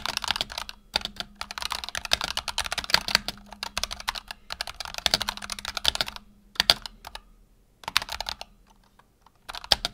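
Fingertips of both hands rapidly type on a black tenkeyless Razer Huntsman Tournament Edition keyboard with PBT plastic keycaps and optical switches, resting on a desk mat. Dense bursts of short, bright, crisp clacks break into brief pauses before typing resumes, with a faint low hum underneath.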